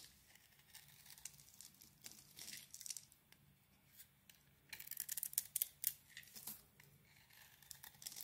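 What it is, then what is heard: Bar of soap being shaved. A utility knife blade scrapes and shaves a solid oval bar of soap, blue swirled with purple, held in the hand. Quiet, bright, crisp scratching and shaving bursts come in short strokes, growing denser and louder in the second half, with almost no low end.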